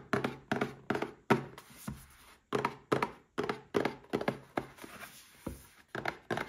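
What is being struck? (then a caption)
Small cardboard box. A small red cardboard gift box holding a Paladone Mario Kart glass is tapped with fingertips and short nails. About twenty short, dull, hollow thunks come at an uneven pace, each dying away almost at once. The sound is mid-pitched with little deep or bright content.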